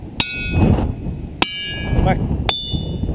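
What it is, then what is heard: Ringing rock (resonant boulder). A resonant ringing boulder is struck three times with a hammer, each hit giving a loud, sharp metallic clang with bright high tones that ring on briefly before fading. Low rumbling noise fills the gaps between strikes.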